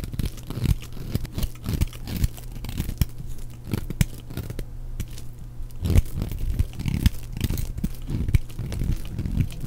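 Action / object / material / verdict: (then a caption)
scrape / bar of soap shaved with a knife blade / soap / none. A flat knife blade shaves and scrapes curled slices off a purple solid bar of dry soap held in one hand, with a pile of shavings nearby. The sound is a steady run of dry, crunchy scraping and tearing strokes with short, sharp crackles, mostly low and muffled with little high content.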